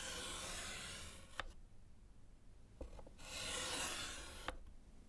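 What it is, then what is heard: Chalk scratching on a slate chalkboard. A gloved hand scratches strike-through lines with orange chalk across a small solid slate board in a wooden frame. Two long, bright, gritty scrapes are heard, each ending in a sharp click as the chalk lifts or lands, with a couple of short taps in the quiet gap between them.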